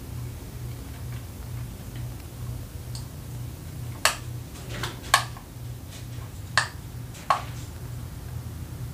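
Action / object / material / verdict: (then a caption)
tap / small plastic fidget cube / plastic / none. Long acrylic nails tap and press the yellow clicker buttons on a small, hollow, multicolored plastic fidget cube (grey, purple, blue, yellow) held in one hand. Four sharp, bright clicks stand out among fainter taps, each dying away almost instantly, over a steady low hum.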